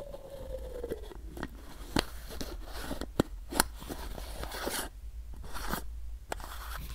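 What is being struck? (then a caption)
Plastic bottle with paper label. Fingernails scratch and tap the colorful paper label and body of a capped, hollow white plastic supplement bottle as it is turned in the hands. Soft papery scrapes and rustles are punctuated by several sharp, bright taps over a steady low hum. A faint tone glides downward near the start.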